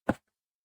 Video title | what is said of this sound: #02 전통자수 수틀 매는 법과 실 꼬는 법!ㅣKorean Embroidery : Framing and Thread Preparation! | Si vous entendez un bruit sourd lorsque vous le secouez, c'est que c'est bien fait